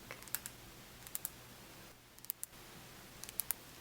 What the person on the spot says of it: It's like a really hard plastic. It's good for tapping sounds.